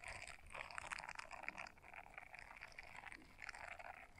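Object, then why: Silicone scrubber brush. A small blue silicone scrubber brush, folded in half, has its bristles scratched by long nails. The result is a quiet, continuous stream of quick, crisp scratching and ticking with bright, papery clicks, concentrated in the upper mids and highs with very little low end.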